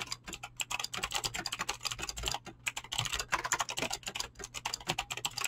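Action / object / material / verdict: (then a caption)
tap / mechanical keyboard with clicky switches and PBT plastic keycaps / plastic / none. Fingertips type fast on a mechanical keyboard with clicky green switches and PBT plastic keycaps. Dense, bright, sharp clicks come in quick bursts with short pauses, each decaying almost instantly. A faint low hum sits steadily underneath.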